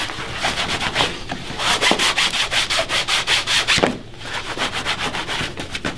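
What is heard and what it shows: A long cloth is pulled back and forth with both hands across the toe of a black leather dress shoe, worn on a foot and resting on a wooden shine stand. It makes quick, rhythmic, bright swishing rub strokes that dip briefly near the four-second mark before the buffing resumes.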